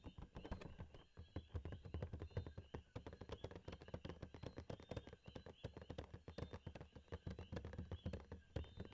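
A hollow Funko Pop cardboard box with a plastic window and a figure inside is held near the camera and tapped rapidly with fingertips and nails. The result is a quiet, continuous flurry of short, dry taps with a deep, hollow low thump under faint clicky nail ticks. Each hit dies away almost instantly.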